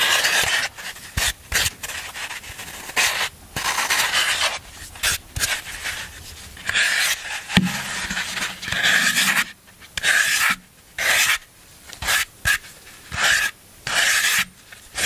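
A black tool scrapes the surface of a solid green floral foam block held up by hand. It makes a series of dry, bright, rasping and crunching strokes in quick bursts, with short pauses between them.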